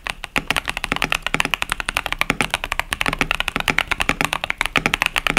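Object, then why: Plastic mechanical keyboard with tactile switches. Both hands type fast with their fingertips on a compact 65% KBD67 Lite mechanical keyboard with a plastic case, plastic keycaps and Boba U4T tactile switches. A rapid, steady stream of short, dry, bright clacks centers around 2.2 kHz, with very little low end and almost no ring after each keystroke.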